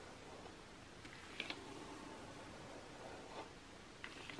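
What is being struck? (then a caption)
Glossy coated paper magazine. Long nails scratch and tap across the same page spread of an open glossy magazine lying flat, its thin coated paper giving a soft, steady papery scratching. Four short, bright taps click out over the quiet rustle, two close together early on and two near the end, each dying away almost at once.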